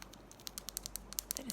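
A small, hat-shaped hard sugar candy is tapped and scratched, giving about 13 quick, sharp, high-pitched clicks with a faint scratchy rustle between them. The crisp clicks show it is a very firm candy.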